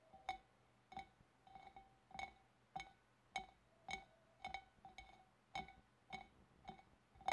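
Long dark-painted nails tap with both hands around the wavy rim and upper sides of a large, empty, hollow clear glass fish bowl. About fifteen quiet, bright glassy clinks sound at an uneven pace, each with a short ringing tone around 2.2 kHz that fades quickly.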